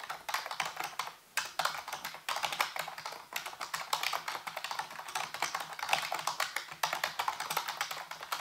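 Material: Plastic.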